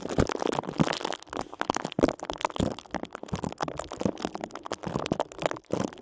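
A clear, thin plastic bag wrapped around a small computer mouse, with only the mouse inside and the bag not full, is gripped, squeezed and crinkled at its twisted top by both hands using fingertips and short nails. The result is a fast, dense stream of crackling, crinkling plastic sounds with sharp, short snaps that die away almost instantly. The snaps come over a continuous rustle, with most of the energy in the low and middle range.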